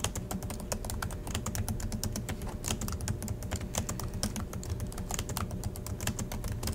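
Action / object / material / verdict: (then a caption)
tap / plastic laptop keyboard keys / plastic / none. Both hands type steadily with their fingertips on the black plastic chiclet keys of a silver Acer laptop resting on a desk. The result is a rapid, continuous stream of short, crisp key clicks with bright ticking tops. A steady low hum runs underneath throughout.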